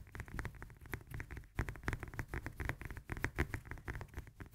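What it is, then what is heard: Lemon. Long nails tap and scratch rapidly on the textured peel of a whole fresh lemon held in both hands. The result is a quiet, fast patter of short, dull, low-pitched taps with faint scratchy crackle between them.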